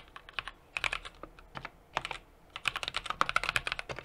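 A 60% mechanical keyboard with an aluminum case, brass plate and plastic keycaps is typed on steadily with the fingertips of both hands. Crisp, bright, short clacks come in quick bursts separated by brief pauses, each keystroke dying away almost instantly with very little low end.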